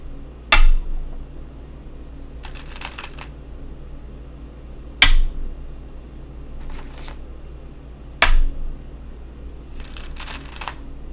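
Go stones are placed on a wooden go board, giving three sharp, bright clacks with a short ring, spaced a few seconds apart. Between the clacks come brief bursts of soft, high rattling over a steady low hum.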